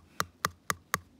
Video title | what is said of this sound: zaváranie na chalupe | Potrebujeme tam počuť taký ťukes. Takže podľa toho viete, že je to dobré.